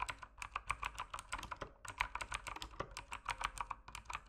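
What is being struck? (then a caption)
Mechanical keyboard with plastic keycaps. Fingertips type continuously on the plastic keycaps of an RGB mechanical keyboard, producing a steady stream of quick, sharp clacks with bright ticks and a brief pause near the middle. Each keystroke dies away almost instantly, leaving dry, closely spaced clicks.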